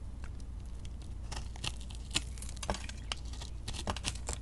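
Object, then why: Glitter-coated flaky soap cut with a metal blade. A metal blade cuts and scrapes a solid, rounded soap lump held in the hand, its glitter and bead coating over a flaky beige interior. Dry, crisp crackling and crumbly scraping come in quick bursts of bright ticks and short crunches over a steady low hum.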